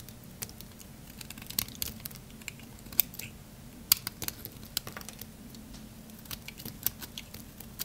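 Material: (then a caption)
Soap. A metal blade cuts and shaves crunchy pieces from a small remaining solid stick of dry black soap held in the fingers. It makes a quick series of short, dry, bright crackles and snaps, with a few sharper ones standing out, over a steady low hum.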